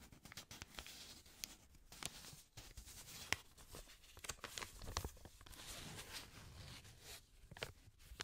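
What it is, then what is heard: Paper banknote. Black-gloved fingers fold, flick and rub a thin blue-grey paper banknote held close to the microphone. Quiet, bright crinkling and soft rubbing are broken by sharp, short snaps from the flicks, with brief pauses in between.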